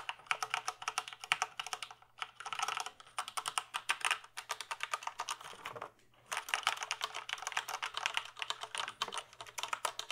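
Fingertips type rapidly on a full-size plastic computer keyboard held at an angle, producing dense, bright, short clicking key taps. The typing runs in bursts with brief pauses near 2 and 6 seconds. A faint, steady low hum sits beneath the taps.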